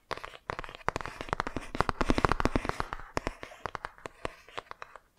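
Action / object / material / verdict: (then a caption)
tap / laminated cardboard board book / laminated cardboard / none. Long nails tap and scratch the glossy front cover of a laminated cardboard board book held upright. The result is a dense, irregular run of short, dry clicks with little ring, mixed with brief scratchy rustles.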